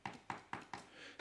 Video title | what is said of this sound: DIY $15 Audio diffusor panel!! | it's not much more than when I tap the table, so that shouldn't resonate too much, hopefully